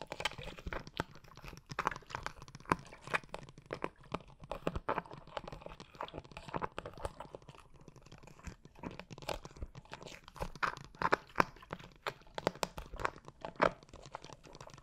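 A liquid-filled blue plastic glitter water bottle, held diagonally near the mic, is tapped and scratched with long nails. Dense, quick, crunchy taps and scratchy rasps overlap continuously, each dying away at once with no ring. The sound is a steady, crisp patter of close, dry clicks.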